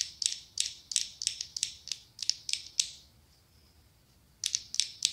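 Long acrylic nails tap and scratch a small ribbed orange glass candle jar shaped like a pumpkin, with a lid and apparently filled with candle wax, held in both hands. Bright, sharp clicks come in quick ratchet-like runs, then stop for about a second and a half with only a faint high hiss. A final burst of clicks follows.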